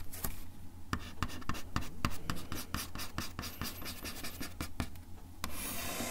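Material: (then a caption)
Wood. The tip of a bamboo ear pick scratches across a solid, flat brown wood-finish desk top, making a rapid, irregular series of short, dry scrapes and sharp ticks with bright edges. A steady low hum sits underneath the scratching throughout.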